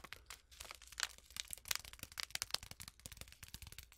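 Long acrylic nails rapidly tap and scratch a small, flat, sealed Twinings tea packet, a foil-lined paper sachet still full with its tea bag. The result is a fast, irregular stream of quiet, crisp, crinkly clicks and scrapes, bright and papery with almost no low end, each tap dying away instantly.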